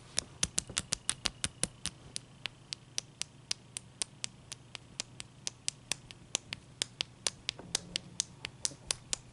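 Long dark-painted nails and fingertips tap and scratch a large, clear, solid ice cube resting on a towel. About forty sharp, bright clicks arrive in a steady, quick rhythm, each dying away almost instantly. A faint low hum sits underneath.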